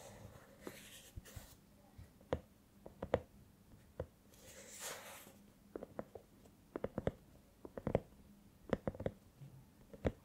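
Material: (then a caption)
Silicone. Long painted nails scratch and tap the surface of a small, hollow, soft silicone cat-shaped LED lamp that glows and changes color while held in both hands. Quiet, short, dull taps with a muted midrange knock arrive in irregular clusters, separated by soft, breathy scratching swishes. A faint steady low hum sits underneath.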